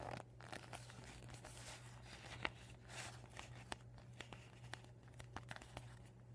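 A deflated vinyl beach ball with blue, white and red panels lies bunched up on a table while fingers with painted nails squeeze and crinkle the plastic. Soft, continuous rustling is broken by sharp, bright crackles and crisp snaps that die away instantly, all over a steady low hum.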